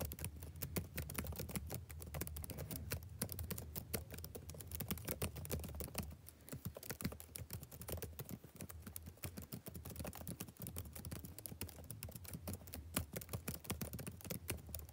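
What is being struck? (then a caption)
Plastic laptop keyboard keys. Fingertips type fast on the black plastic keys of a backlit laptop keyboard, making a dense, steady stream of quick, soft clicks and taps. A low hum runs underneath throughout, and the typing eases slightly after about six seconds before picking back up.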